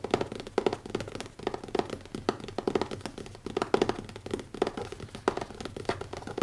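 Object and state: Leather-covered hardcover notebook.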